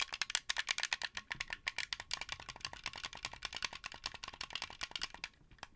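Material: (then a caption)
Plastic. Fingertips rapidly tap and click the buttons and shell of a translucent blue, hollow plastic Xbox 360 game controller. The result is a steady run of dozens of crisp, bright, dry plastic clicks with almost no low end and no ringing after each hit.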